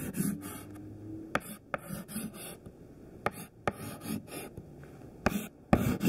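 Fingertips hold a thin white classroom chalk stick and draw small squares on a flat black chalkboard with a solid board surface. Bursts of dry, raspy chalk scratching are heard with several sharp taps of the chalk against the board.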